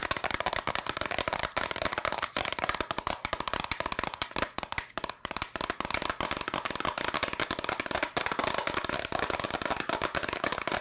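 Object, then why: Small cardboard candy box. A small, hollow yellow and red cardboard candy box is tapped and scratched with long nails in fast, continuous bursts. The sound is a dense stream of dry, crisp clicks and scratchy rasps that die away almost instantly. It stays bright and papery, with little low end.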